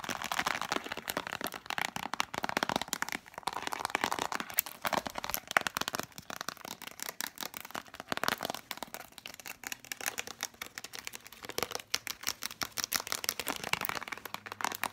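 A hollow plastic Spontex container with a printed cardboard sleeve is turned in the hands and tapped fast with long fingernails. The result is a dense, continuous stream of dry, bright clicks and crinkly taps centred around 1.5 kHz, with almost no low end and no ring after each hit.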